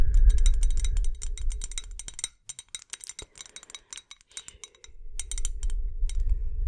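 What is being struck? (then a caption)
Glass bottle with string lights inside. A tall clear glass bottle or jar, likely hollow, with colourful LED fairy lights inside is held close and tapped along its side with long acrylic nails. Quick, light clicks and bright glassy clinks come in a rapid, uneven rhythm over a low rumbling hum. The hum drops away midway, leaving sparse, isolated taps, then returns with denser tapping.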